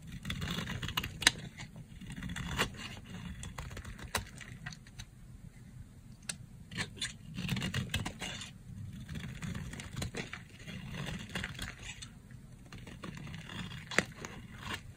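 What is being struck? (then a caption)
Bar of soap scraped with a blade. A yellow box-cutter blade cuts and scrapes along the edge of a dry, solid pink soap bar. The result is a steady stream of dry, crackly scraping with sharp, bright clicks and snaps, over a low background rumble.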